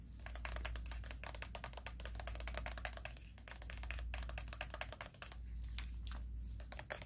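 Fingernails tap rapidly on the hollow plastic headband of white plastic over-ear headphones with padded ear cups. The result is a dense, uneven run of short, dry, bright clicks with almost no ring. A steady low hum sits underneath.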